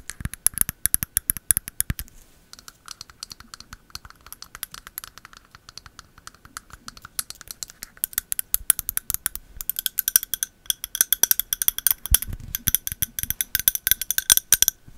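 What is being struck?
Wax-filled glass candle jar.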